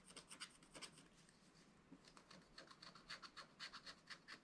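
A wooden stylus scratches lines into the black wax coating of a small spiral-bound scratch-art paper pad. It makes a quiet series of short, bright, raspy strokes at about four per second in an uneven rhythm, each dying away almost at once.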